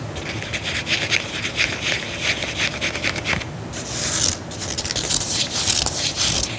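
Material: Faux leather.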